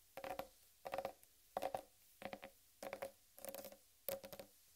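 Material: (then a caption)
Watermelon rind. Long red nails tap and knock on the rind of a large, solid whole watermelon. Seven short bursts of quick, hollow taps ring out with a mid-pitched knock around 750 Hz and crisp bright clicks, each dying away almost instantly.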